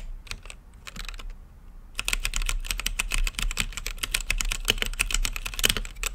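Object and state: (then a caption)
Mechanical keyboard. Fingertips type on a mechanical keyboard with plastic keycaps and a clear acrylic lit case. A few scattered keystrokes give way, after about two seconds, to fast, steady typing of short, bright clacks over a low thud. Each click stops almost instantly.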